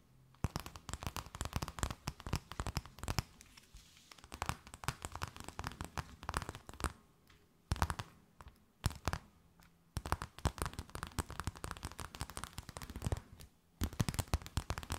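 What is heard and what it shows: A thin, empty, clear plastic bag held between both hands is tapped, scratched and crinkled with long nails. Rapid bursts of sharp, crackling clicks and crinkles run through the clip, broken by a few brief pauses, over a faint low hum.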